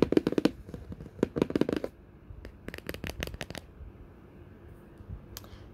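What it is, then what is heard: Cardboard box. A orange printed Ipsy subscription mailer box, made of flat cardboard, is tapped and scratched across its printed top by long natural white-tipped fingernails. Quick, dry taps and scratches come in clusters, with a busy run at the start, a short pause, another burst of crisp taps, then a quieter stretch of faint scraping.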